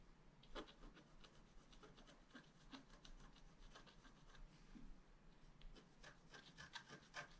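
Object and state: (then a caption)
Scratch-art paper card. A wooden stylus scratches the surface of a thin black-coated scratch-art paper card held flat on a table, in repeated small strokes. Each stroke is a short, dry, quiet scratch with a bright rasping edge and no ring, heard over a steady low rumble.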